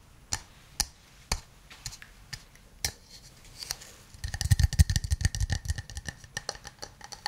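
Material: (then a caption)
Wood. A hand-sized hollow wooden cup, held in both hands, is tapped with fingernails and fingertips. Sparse, sharp, bright clicks come first, then after about four seconds the tapping turns quicker and denser, with soft hollow low thumps under short clicks that die away almost instantly.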